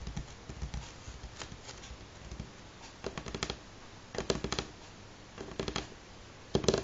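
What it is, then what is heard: Wooden tabletop tapped with fingernails. Fingernails of both hands tap on a solid light pine wooden tabletop. Scattered soft taps give way to quick bursts of short, dry, clicky rattles with a faint woody tone near 390 Hz. The bursts grow louder toward the end.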